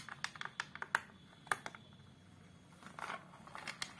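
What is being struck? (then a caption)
Glass-fronted photo frame. Long colourful acrylic nails tap and scratch on the flat glass front of a large framed picture with an ornate dark wooden border, near the frame edge. About fifteen quiet, sharp, bright clicks come at an irregular pace, each dying away almost instantly. A brief, softer scratchy stretch comes near the end.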